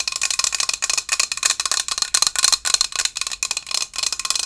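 Long acrylic nails tap and scratch the white painted body of a hollow stainless steel Starbucks Japan travel tumbler decorated with Mt. Fuji and cherry blossoms, with a pink lid and a steel base. The clip is a steady stream of quick, bright clicking taps and scratchy strokes, sharp and high-pitched with faint metallic tones and almost no ring after each touch.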